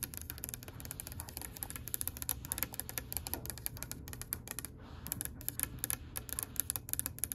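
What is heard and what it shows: Long pale pink acrylic nails tap rapidly on a solid oak-grain wooden tabletop, making a dense stream of short, bright, clicky taps with almost no ring. A steady low hum sits underneath the clicking throughout.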